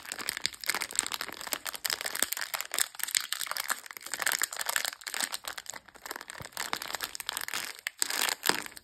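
A long, sealed blue plastic Copa biscuit pack full of sandwich cookies is held in the hand and rubbed and crinkled along its length by fingertips with long nails. It makes dense, bright crinkling with rapid sharp crackles and tapping clicks that swell and fade in short bursts, with almost no low end.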